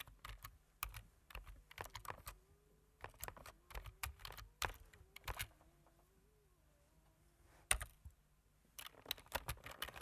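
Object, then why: Plastic computer keyboard. Fingertips with medium-length nails type on the black plastic keys of a computer keyboard, producing quick, crisp clicks and taps with a soft low thud under each press. The typing comes in uneven bursts, fades to a quiet pause in the middle, and is broken by one sharp, louder click. A dense flurry of tapping returns at the end.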